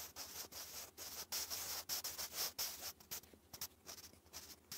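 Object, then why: Wooden graphite pencil on a lined paper notebook page. A sharpened wooden pencil held in the fingers writes cursive letters continuously across a textured lined notebook page. Its dry, bright scratching comes in quick irregular strokes separated by brief pauses.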